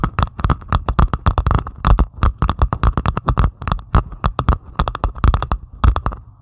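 Long pointed acrylic nails on both hands scratch across a flat, solid diamond painting canvas covered in tiny plastic resin drills, lying flat. Dozens of quick, dry scratching strokes sound in a fast, uneven rhythm, each a short crackly burst with a dull low thump underneath. The strokes stop almost instantly, with no ringing.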